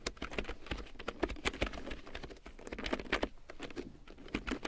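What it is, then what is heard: Plastic keyboard being typed on. Long painted nails and fingertips tap quickly across a full-size large print keyboard with a black plastic frame and big yellow plastic keycaps, lying on faux fur. A steady patter of short, dry plastic clicks follows, each dying away almost at once, with soft low thumps under a mid-pitched clatter.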